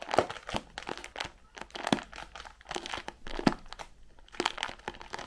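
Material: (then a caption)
Cardboard. Long pink-painted nails tap and scratch the sides and edges of a white printed cardboard Raffaello candy box with a clear plastic window, hollow and filled with wrapped candies, held up in both hands. Quick, dry taps with almost no ring mix with crinkly scratching bursts that carry a bright, papery hiss.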